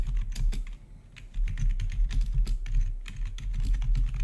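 Fingertips of both hands rapidly type on a full-size black plastic RGB backlit gaming keyboard with a hollow housing, recorded close-up. A steady stream of bright, short key clicks rides over a low, hollow thumping from the housing.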